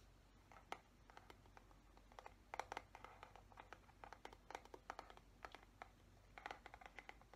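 A fingernail scratches the bristles of a black plastic paddle hairbrush, then fingertips tap its smooth, hollow plastic back. The result is a quiet series of short, crisp clicks and scratchy ticks with a mid-range knock around 824 Hz and bright edges, each dying away almost instantly over a low, steady hum.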